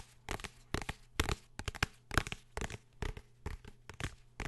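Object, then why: Hardcover book with cardboard cover. A blue hardcover book is tapped and scratched in a series of short, dry bursts. Each burst pairs a dull low knock with a bright, crinkly scratching texture that stops almost at once, leaving quiet gaps between.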